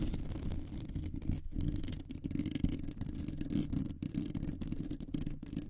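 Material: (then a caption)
Metal mesh. Long nails scratch quickly over a round, hollow metal mesh microphone grille. The result is a dense, low, buzzing rasp with a faint rattle, continuous with a few brief dips.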